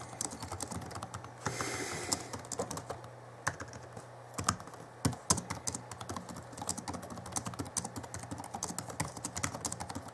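Both hands type rapidly with their fingertips on the backlit chiclet keyboard of a 2011 Alienware M11x R2 laptop, its plastic keys set over a solid laptop base. Dense, quick plastic clicks and taps run throughout over a steady low hum, with a brief hissy burst near the two-second mark. A few sharper, louder key strikes stand out around the middle.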